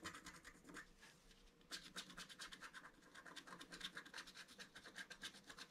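A wooden stylus scratches continuously across the lower motif of a flat, black-coated scratch-art paper card. It makes dense, rapid scraping strokes with a bright, high, rasping texture and almost no low end. The strokes ease off briefly for a softer stretch before resuming in quick rhythmic bursts.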